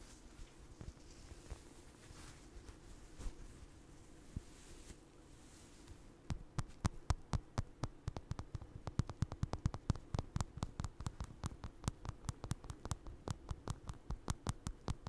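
Fingertips and nails scratch and tap a small, soft, stuffed orange crocheted doll with eyes, held close to a microphone. The first six seconds are quiet, soft scratching and rustling over a low steady hum. Then a fast run of short, crisp taps starts and keeps going to the end, each click sharp and gone almost at once.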